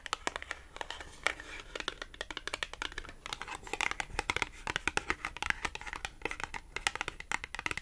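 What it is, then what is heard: Cardboard clothing tag. Long acrylic nails scratch and tap a small, thin, flat green matte cardboard clothing tag. Dense, rapid, dry clicks and crisp papery scratches sound bright and close, with almost no low end and no ring after each tap.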